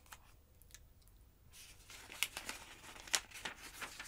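A long-nailed hand rubs the page of a large open paper phonebook, then lifts and flips a bunch of pages. Soft, faint rustling gives way to louder, bright, crisp paper fluttering with a couple of sharp snaps as the pages turn over.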